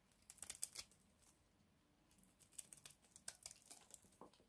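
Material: Soap.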